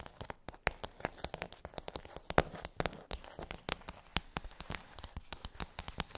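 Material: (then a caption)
Plastic. Long nails tap quickly on the hollow dome bumps of a pink rigid plastic tray, making a rapid, uneven stream of sharp, dry, hollow clicks. Each tap is bright and dies away almost instantly, with a faint crinkly rustle between hits.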